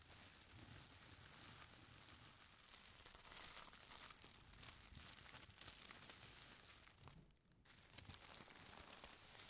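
Fingers with long nails grip, squeeze and scratch the edges of a folded stack of thin purple tissue paper. The result is soft, continuous, bright crinkling and rustling with a brief lull near the end.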